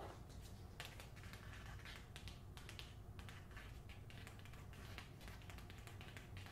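Long nails tap and scratch the back cover and spine of a closed, paper-covered hardcover copy of "The Hacienda," held at an angle and then by the spine. Quick, crisp, bright clicks and scratchy strokes come in an uneven patter. They play quietly over a steady low rumble.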